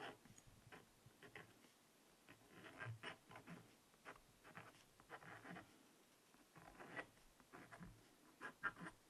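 A wooden stylus scratches letters into the coating of a small spiral-bound black scratch-art notepad of coated paper resting on fabric. Quiet, dry, scratchy strokes come in short bursts with brief pauses between them, centered in the midrange with some faint bright hiss. Each stroke stops dead, with no ring after it.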